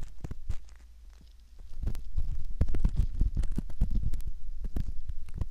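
A straight metal pick rubs and scratches at the canal entrance of a soft silicone ear model, giving close, muffled low scraping and rustling with many short irregular strokes. The sound starts quieter, dips around the first second and a half, then grows denser and louder toward the end.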